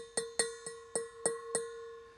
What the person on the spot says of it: it's high pitched, it's metallic